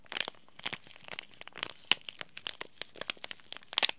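A small, sealed, green laminated plastic-foil tea bag sachet is crinkled and rubbed between the fingertips of both hands. The result is a quiet run of sharp, bright crackles and crinkles, each short and dry, with almost no low end.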